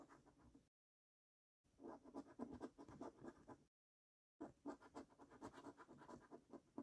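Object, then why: Paper scratch card scratched with a coin. A coin scratches the latex coating off a paper scratch card resting on a wooden table, in three bursts separated by two silent gaps. The scrapes sound dry and raspy, with a low-mid body and a faint bright hiss.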